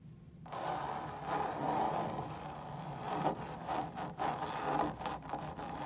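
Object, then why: Stretched woven fabric lampshade. Long pointed stiletto nails scratch and tap across the stretched woven fabric of a large, hollow, drum-shaped lampshade lit from inside, in a hotel room. A steady, dry rasping hiss with a midrange tone near 750 Hz is broken by a few short dips and sharper scratch accents.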